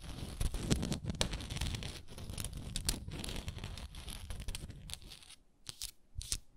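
Long nails tap and scratch a small hexagonal frosted glass moisturizer jar with a wooden lid, held sideways, working over both the wooden lid and the glass body. Dense, rough scratching with sharp, bright clicking taps runs throughout. It thins out near the end into a few isolated, crisp taps over near silence.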